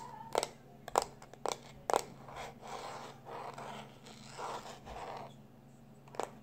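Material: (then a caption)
Plastic. A small black plastic external hard drive, held in both hands, is tapped with the fingertips in five sharp, short clicks centered around 800 Hz. Then short nails scratch along its edge in soft, broad rasping strokes, and one final tap ends the clip.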